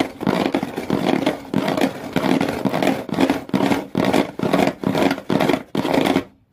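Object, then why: Empty cardboard shoe box. Long fingernails scratch the inner side walls of an empty, open shoe box near its blue rim; the box has a corrugated-textured brown cardboard floor. The result is a series of dry, rasping scratch strokes with a papery hiss reaching into the high range and a hollow body around 270 Hz. The strokes come in quick, uneven back-to-back runs, then stop abruptly into silence.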